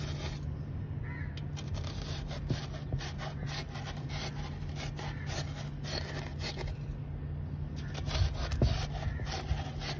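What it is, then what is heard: Crushed charcoal granules scraped in a basin. A steel knife tip held in the fingers scratches and scrapes through a loose heap of small dark crushed charcoal granules and cement chunks filling a wide grey basin. A steady gritty rasping runs throughout over a constant low hum, with a few louder scrapes and crunches near the end.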